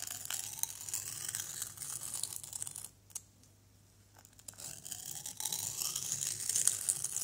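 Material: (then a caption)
Plaster. A white plastic knife blade scrapes and carves a small, solid orange plaster excavation block, making dry, bright, gritty scratching strokes. The scraping goes quiet for about a second and a half in the middle, then resumes slightly louder and denser until the end.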